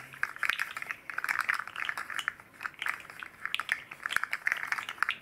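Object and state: Articulated plastic fidget slug toy.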